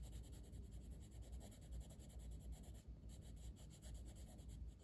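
A wooden colored pencil held in the fingertips scratches and rubs across a flat, solid paper coloring book page lying open on a table, with a closed pencil tin untouched to the side. Steady, rhythmic coloring strokes make a quiet, continuous scratchy rustle with repeating soft pulses over a low, dull rumble.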